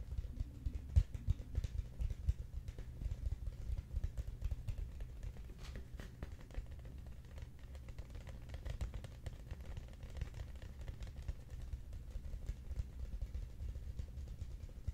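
A large, hollow, cylindrical Quaker Oats cardboard canister is held upright in both hands and tapped on its sides with the fingertips. The taps come as a steady, rapid patter of soft, dull, low thumps that die away almost instantly, with only faint brighter clicks on top.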